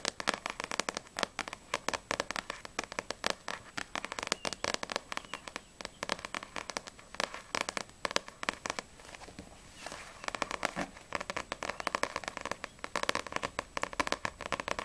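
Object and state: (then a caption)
Paperback manga book tapped with nails. Long acrylic nails tap rapidly on the glossy card back cover of a No.6 paperback manga volume with solid paper pages, then move to the front cover. The result is a dense stream of crisp, dry, bright clicks with almost no low end and no ring. The tapping thins briefly around the tenth second before picking back up.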